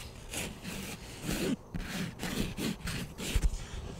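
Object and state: Plastic flying disc.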